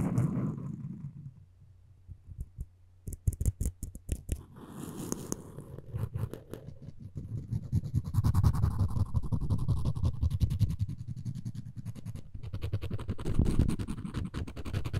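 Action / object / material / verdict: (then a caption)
scrape / wooden spoon handle and floss string / wood / none. A floss pick string is scraped across the tip and along the handle of a solid wooden spoon, giving soft, low, rumbling scratches with quick irregular clicks. Dense scraping builds in the second half, and nearly all the energy sits in the low range.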